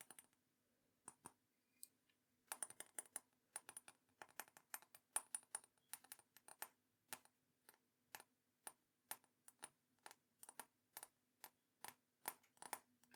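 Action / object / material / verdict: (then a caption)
tap / glazed ceramic mug / ceramic / none. A teal and green ceramic mug is tapped in a quick, uneven run of short, bright clicks. The sparse opening taps give way to dense clusters and then a steady rhythm. Each tap is crisp and dies away almost at once, with a faint high ring and a soft low hum underneath.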